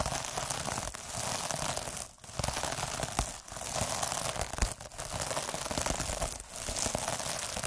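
A derma roller with metal needles is rolled across the top of a palm-sized, puffy, sparkly iridescent plastic mesh scrub sponge, scratching the mesh. A steady, dense crackling and crinkling rasp fills the clip with brief quieter dips between passes.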